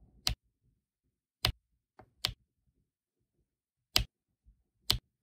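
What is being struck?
Resin drills on adhesive diamond painting canvas.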